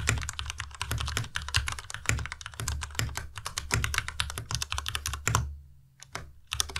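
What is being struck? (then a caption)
Plastic mechanical keyboard. Fast, continuous fingertip typing on a white compact Ducky Miya Pro mechanical keyboard with plastic keycaps produces a dense stream of bright, crisp key clacks over a low, hollow thock. The rapid keystrokes run steadily, pause briefly about a second before the end, then resume.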